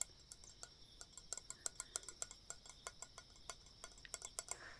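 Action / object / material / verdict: tap / metal dagger blade / metal / none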